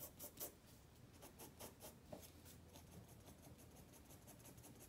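A black pencil shades with rubbing strokes across a white spiral paper sketchpad resting on a wooden table. Quiet, scratchy strokes come as a run of soft, bright hissing swishes, sharper ones early, then settle into a steady, low rustle of graphite rubbing on paper.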